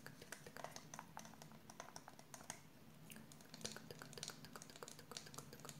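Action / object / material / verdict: tap / plastic spray bottle with water / plastic / none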